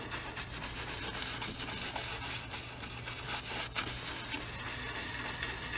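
A wide bristle brush loaded with oil paint rubs and scrubs in short strokes across a medium stretched cotton canvas, hollow-backed on a wooden frame and standing on an easel. The result is a steady, bright, dry scratching and swishing texture with quick, uneven strokes over a faint low hum.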